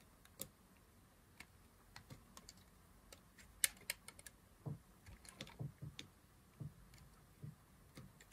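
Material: Soap.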